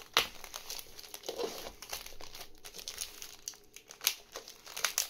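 Fingertips scratch and crinkle the surface of a medium rectangular parcel wrapped in dark plastic and brown packing tape, resting on a wooden table. The result is quiet, bright, dry crinkling and scratching with sharp crackles that stop almost instantly, and very little low end.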